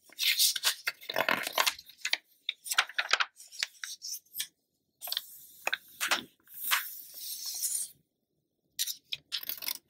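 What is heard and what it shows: Fingertips with long nails rub, smooth and turn the thin glossy paper pages of an open Essence magazine lying flat on a dark surface. Bright, crisp rustles, crinkles and sliding swishes come in short bursts and longer sweeps, separated by brief quiet gaps, with no low-end weight.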